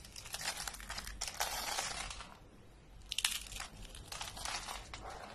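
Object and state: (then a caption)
Dry brittle soap curls crushed. Rolled coils of dry pink soap are squeezed and crushed in the hands into brittle flakes, with a few green flakes lying nearby. Dense, bright crackling crunches come in bursts, ease into a quieter lull midway, then return with a sharp snap and more brittle crumbling.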